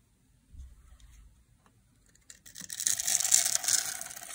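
A solid oval bar of dry blue soap, held in a hand with long black nails and scored into a grid, is shaved with a metal blade so small cubes crumble off. After a faint low rumble and a few soft ticks, a bright, dense scraping crackle builds and continues to the end.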